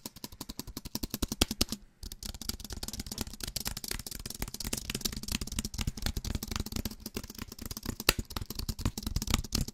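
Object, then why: Aluminum and plastic wireless keyboard. A slim Apple-style wireless keyboard with a solid aluminum body and white plastic keys is held upright close to the mic while fingertips and nails tap fast on the keys and the underside. Dense, rapid clicky taps pile up with sharp bright edges and a hollow low thump, broken by one brief pause near two seconds before the tapping resumes steadily to the end.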